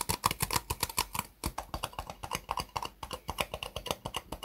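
Long nails and fingertips tap the sides of a hollow, empty white disposable plastic cup set upside down on a desk mat. About thirty quick, dry clicks come in a steady, uneven patter, each with a hollow tone near 1 kHz and a bright edge. Each tap dies away almost at once.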